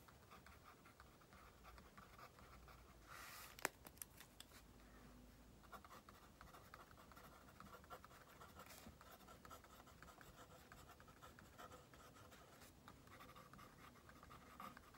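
A pink plastic mechanical pencil is dragged across a thin stack of white paper on a table in writing strokes, with the left hand resting on the sheets. The result is a quiet, steady scratching of graphite on paper, with a few sharper ticks and taps breaking through the soft strokes.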